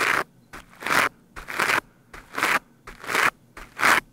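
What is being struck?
Foam microphone windscreen.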